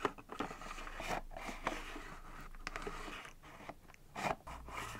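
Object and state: Plastic mini drawer unit.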